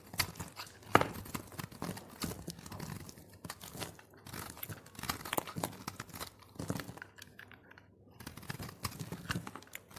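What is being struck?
Soap bar.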